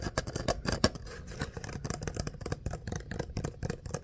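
Fingertips and nails scratch and rub along the vertical ridges of the ribbed outer sleeve on an empty, hollow kraft paper coffee cup held in both hands. The result is a fast, continuous run of dry, papery scratches and rasps, with soft hollow low thumps beneath and brighter crackly edges on each stroke.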